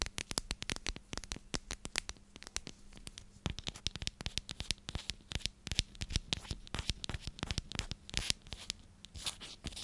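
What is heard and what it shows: Long nails rapidly scratch and tap a hand-sized, clear plastic cylindrical container with a purple lid and purple contents. The result is a dense stream of sharp, dry, bright clicks and scratchy rasps that stop almost instantly. A faint steady low hum runs underneath.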